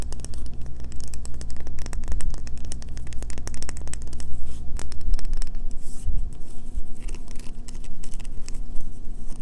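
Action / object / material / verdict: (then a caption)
scrape / bar of soap / soap / none. A solid green bar of soap, held in the hand, is scratched along its edges and face with long fingernails. The result is a dense run of quick, dry scratching and clicking strokes with bright hiss, over a steady low hum throughout.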